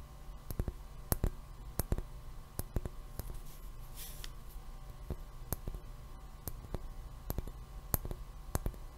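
A hollow, empty round white milk glass globe lampshade, held in one hand close to the microphone, is tapped and clicked with the fingernails of the other hand. Short, sharp clicks come at an irregular pace and die away almost at once, over a steady low hum.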